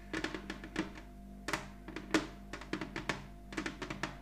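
A large glossy red ceramic heart-shaped ornament lies flat on a cloth-covered table and is tapped with the long nails of both hands. The taps come in quick, irregular bursts of sharp, bright clicks with a low body around 300 Hz, each dying away almost at once. A faint steady hum runs underneath.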